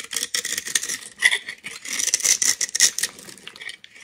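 A palm-sized, solid green glitter-coated bar of soap is held in one hand while a steel utility knife blade scrapes and cuts into its surface. Dense, crisp scratching and crackling bursts come in quick succession, bright and sharp with a strong tone around 2 kHz and almost no low end. The coating shaves off, exposing bright green soap as crumbs fall.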